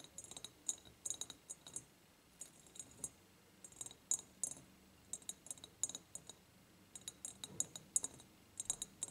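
Nails and fingertips tap and rub the ribbed sides of an empty clear glass jar. Quiet, bright clicks and glassy taps come in quick clusters separated by short pauses, with a high ringing tone that dies away almost at once. Soft rubbing fills the spaces between the taps.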